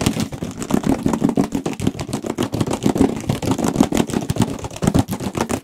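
Fingertips and nails tap and scratch rapidly on a large, hollow Radeon cardboard graphics card box, held edge-on and then face-on. The result is a dense, fast patter of short, dry knocks with a hollow resonance, mixed with scratchy rustle.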